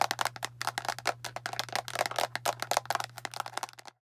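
Long nails tap quickly on the cap and body of a hand-sized blue plastic deodorant stick container. The result is a rapid, uneven run of short, dry, bright clicks with almost no ring, over a steady low hum that stops just before the end.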